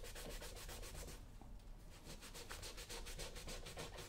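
A brown smooth leather lace-up work boot, solid and worn on a foot on a shoe-shine stand, is held in one hand while the other rubs it briskly with a yellow cotton cloth in a buffing motion. Fast, rhythmic swishing strokes give bright, airy friction bursts over a low rumble, easing briefly in the middle before picking back up at a steady pace.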